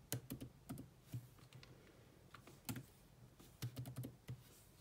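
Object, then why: Plastic laptop keyboard keys. Fingertips and long nails type on a grey laptop keyboard with black plastic keys, making quiet, dry taps and clicks in uneven bursts with short pauses between them. Each keystroke is brief, with a soft low thud under a bright clicky edge and almost no ring.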